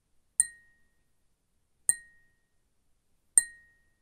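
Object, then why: Glass cup. A glass cup is tapped with a fingernail three times at even intervals. Each tap gives a sharp, bright clink followed by a thin ringing tone near 2 kHz that fades within about a second.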